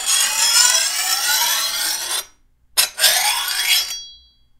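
A hand-held steel file scrapes along the edge of a long, thin, solid steel machete blade in two strokes. Each stroke is a bright, harsh rasp with high ringing tones from the steel and a rising, sweeping pitch. The strokes are separated by a short pause, and the second ends with a brief ring that fades out.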